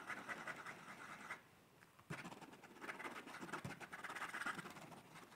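A pencil makes quick scratching sketch strokes across the paper page of a hard-backed paper sketchbook held up in one hand. The raspy scratching is concentrated in the midrange around 1.3 kHz, with bright hiss above. It pauses briefly into near-silence partway through, then resumes in dense bursts of strokes.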